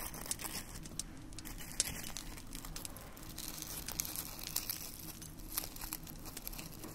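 Fingertips dig into a dish of dried red rose petals and crush and crumble them by hand. A steady, quiet dry crinkling and crackling runs throughout, with bright, brittle snaps over a soft low rumble and a few sharper crunches standing out.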